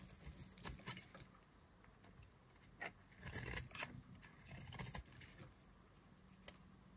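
A hand-held, solid yellow-and-white striped bar of dry soap is scraped and carved with a black knife blade. Crisp, bright scraping and crackling strokes come in short bursts over a faint steady low hum, with quieter pauses between cuts.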